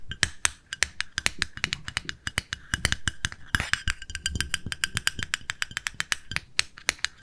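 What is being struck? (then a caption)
Small plastic cosmetic jar with lid. A small, round, pale pink plastic cosmetic jar with a lid is held in the hands and tapped with long nails on the lid and side. The result is a rapid, uneven run of sharp, dry clicks with a hollow tone around 1.7 kHz and bright high edges, each dying away almost instantly.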